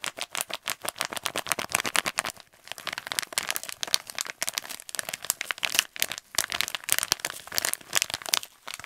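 A kraft paper pouch, held in both hands, is crinkled and tapped with the fingernails. The result is a fast, continuous stream of dry, crisp taps and crackles, bright with almost no low end. A brief lull comes about two and a half seconds in.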